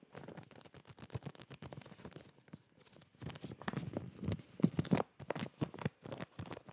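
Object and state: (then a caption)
Plastic bag of folded fabric, crinkled. A hand-sized clear plastic zip-lock retail bag with a hanger tab, full of folded fabric boxer shorts, is held in both hands and tapped and squeezed with fingertips and short nails. Rapid soft crinkling and tapping fill the clip, quieter at first and growing louder and denser in the second half.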